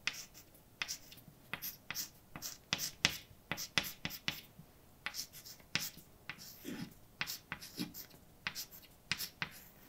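Fingers hold a white chalk stick that scrapes across a large, dark, wall-mounted chalkboard with a flat, solid surface while writing a poem. The result is a quick, irregular run of bright, scratchy strokes and sharp taps, each fading almost at once, with a few soft, low scuffs between them.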